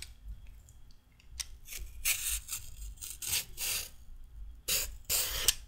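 A handheld peeler scrapes along a raw carrot, curling off thin strips of peel. Each pass makes a bright, dry rasping stroke of scraping noise, with quieter scratches between them over a faint low hum.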